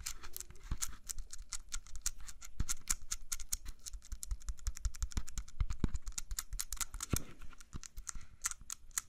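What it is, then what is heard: Apple tapped with fingernails. Fingernails tap quickly on the skin of a whole, solid red-yellow apple held close to the mic. The result is a dense, steady patter of sharp, dry clicks, bright on top with soft low thumps underneath, each tap dying away almost instantly.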